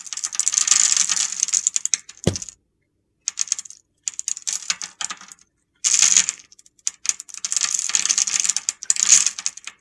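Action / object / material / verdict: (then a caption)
scrape / bar of soap / soap / none. A solid green bar of soap with a red coating is held in the hand while a utility knife blade cuts small cubes off its pre-scored surface. Bursts of dense, crisp, bright crunching and crackling are separated by short silences, with one brief low thump near the start.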